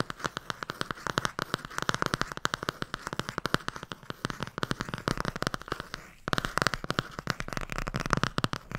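Dozens of fast, crisp taps, with a brief pause near six seconds. Each is a short broad click centred near 1.3 kHz that dies at once, the dry, papery knock of nails on a stiff board cover over a thick block of pages.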